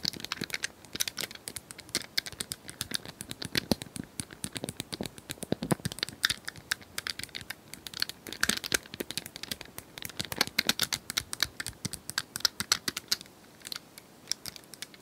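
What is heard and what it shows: Long nails tap and click the square tiles of a hand-sized, multicolored plastic cylindrical rotating puzzle toy. A dense, rapid stream of short, dry, bright clicks and ticks continues throughout, with a crinkly, crackling texture and almost no low end.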